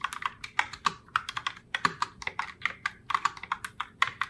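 Fingertips with long nails type continuously on a pink Logitech Pop Keys mechanical keyboard in the Heartbreaker Rose colorway, with round plastic keycaps. About 27 quick, uneven plastic clacks can be heard, each sharp and dry with a midrange knock and a bright top. Each click dies almost instantly, with almost no low end.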